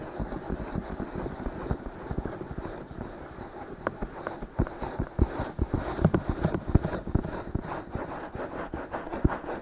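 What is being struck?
Silicone ears of a binaural microphone.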